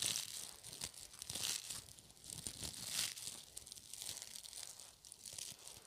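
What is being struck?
Clump of soft plastic burr balls.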